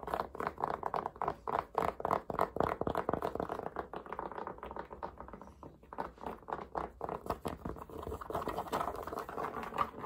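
Fingertips and nails rapidly tap and scratch the brim and front panel of a grey cotton baseball cap worn on the head. The result is a fast, uneven stream of soft, muffled fabric taps and scratchy rubbing, centered in the midrange, with dry, short decays and little high-frequency content.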